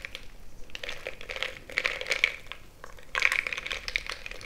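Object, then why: Glass mug filled with crushed ice, stirred with a wooden stick. A bamboo stick is stirred and poked into a frosted glass mason-jar mug full of crushed ice. Bright, rapid scraping and crunching are heard, with sharp clicks of ice against the glass forming a high ringing tone and louder bursts in the middle and near the end.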